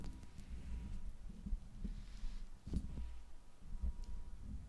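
Long acrylic nails scratch and tap the hollow silver metal mesh grille of a large USB microphone (Blue Yeti), using both hands. The sound is a close, muffled low rumble of soft scraping and thumps, with a few sharper taps standing out over a faint steady hum.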